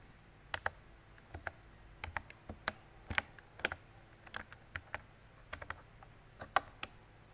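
Fingertips with long decorated nails type on a mint-green retro mechanical keyboard with round plastic keycaps and a hollow body. About twenty sharp, hollow plastic clacks come in an uneven rhythm, each one bright and dying away almost at once, over a faint low hum.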